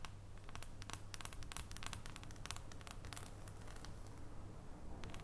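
Long painted nails tap and scratch the segmented top of a solid, unwrapped dark chocolate bar held up over its foil wrapper. Quiet, rapid, sharp clicks and bright scratchy crackles repeat throughout, over a steady low hum.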